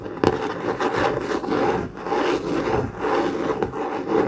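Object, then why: Laminated cardboard notebook cover. A blue COMIX hardcover notebook with a laminated cardboard cover, lying on a desk mat, is rubbed and scratched with fingertips and nails. Dry, papery scraping strokes swell and fade in a steady back-and-forth rhythm, with brief sharp nail clicks between them.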